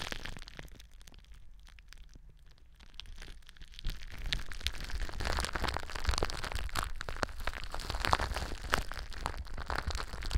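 Long blue nails scratch and crinkle clear plastic bubble wrap stretched over a cylindrical mic form. Soft rustling grows after a few seconds into dense, crisp crackles and pops over a low, muffled rumble, continuing steadily to the end.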